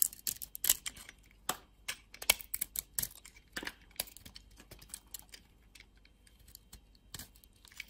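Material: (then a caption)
Soap. A metal utility blade carves and scrapes a solid yellow bar of soap with a purple interior, held in the hand. Many short, crisp, bright scraping and shaving bursts come in an irregular stream, quiet overall with almost no low end and very little ring after each cut.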